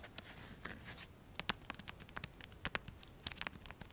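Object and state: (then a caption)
Nylon velcro pouch. A small black nylon fabric belt pouch, a Pocket Radar case with a velcro flap, is held in both hands; it is hollow and holds a device. Fingertips tap, scratch and work the flap, producing quiet, bright crackly clicks and sharp taps that stop instantly, over a soft fabric rustle.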